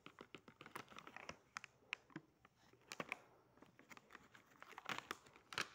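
A small sealed printed plastic-foil cookie pouch, still full, is squeezed, rubbed and crinkled between fingertips and thumbs while being turned. Quick, dry, bright crackles and crinkles come in irregular bursts with short scratchy rustles between them. The sounds stop almost at once, with no ring.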